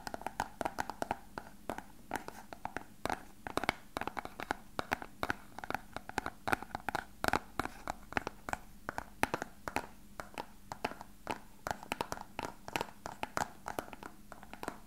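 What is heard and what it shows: An elongated, translucent, hollow clear plastic box that appears empty is held and tapped and scratched with fingertips and nails. A rapid, uneven stream of short, dry clicky taps dies away almost instantly, mixed with light scratching, over a faint steady low hum.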